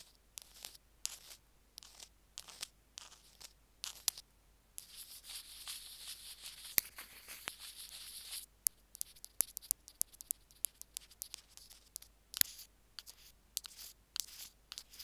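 Two bamboo ear picks scratch and tap along a small white plastic Apple in-line earphone remote, the recording mic itself, lying on a jade-green stone slab. Quiet, bright, crisp scratches and sharp little taps come in quick bursts, with a longer continuous scraping stretch in the middle. There is almost no low end.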